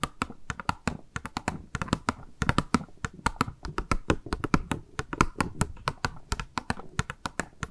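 Long nails squeeze and scratch thin, clear pink plastic packaging wrapped around a round makeup sponge. The result is a quick, irregular run of sharp, dry crinkles and clicky taps. Each is brief and bright with a soft low thump underneath.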